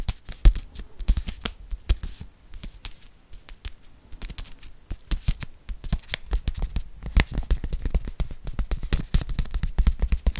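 A small kraft-paper soup sachet held beside the microphone is tapped rapidly with long fingernails. The result is a dense, irregular stream of short, dry clicks and crinkly taps with a soft low thump under them, growing busier and slightly louder toward the end.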